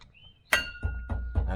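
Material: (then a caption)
Stainless steel. A stainless steel catback exhaust fitted on a BMW 335i is shaken by hand to check for rattling against the body and CV axle. One sharp metallic clink with a short high ring is followed by dull, low thumps as the pipe sways. No rattle is heard, so the exhaust is securely mounted with clearance.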